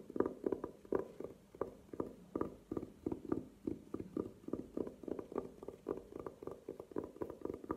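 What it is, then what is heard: Velvet-covered glasses case. A velvet-covered hard glasses case stands upright and is tapped with long nails. The result is a quick, steady stream of soft, muffled, low-mid taps that die away almost instantly, with no bright high end.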